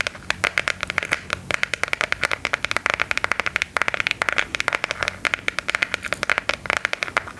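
A smartphone in a hard plastic case with a gear print is held flat and tapped rapidly with long gold filigree claw nails. The result is a fast, uneven run of sharp, dry clicks, bright and centred around 2 kHz, with almost no low end and no ring after each tap.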